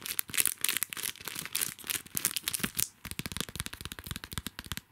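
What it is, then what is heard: Plastic sticker pack. A small, flat pack of Hello Kitty sticker flakes in a clear plastic sleeve with a red printed card header is held in both hands while fingertips and nails scratch and crinkle its plastic front. Bright, dense crinkling fills the first three seconds, then gives way to a quick run of short, crisp scratching taps.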